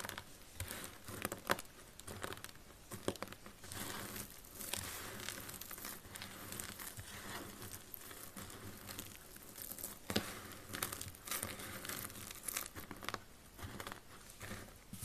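Fingers with purple nails press and rub a pile of solid, brittle yellow dry soap shavings on a grey wooden surface, crushing them finer. The result is a steady, dense crinkling crunch with bright crackle and occasional louder, sharper snaps.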